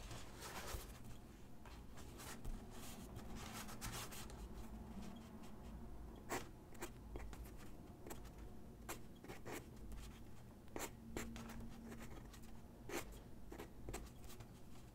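A graphite pencil tip is drawn across a single white sheet of drawing paper lying flat on a wooden desk, making quiet scratching strokes. Short, bright scratches and rubs come in irregular bursts over a steady low hum that fills the background.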